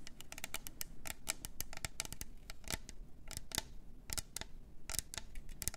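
A tall, hollow, double-walled clear plastic tumbler with pink glitter, a lid and a straw is held in both hands and tapped and scratched with long orange nails. The result is a quick, irregular run of sharp, dry, bright clicks with no ring, mixed with brief scratchy strokes over a faint low rumble.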